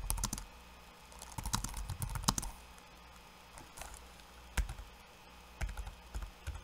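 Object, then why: Plastic laptop keyboard keys. Fingertips of one hand and then both hands type on a backlit laptop keyboard with plastic keycaps. Short, dry clicks come in quick bursts separated by quiet pauses, over a faint steady low hum.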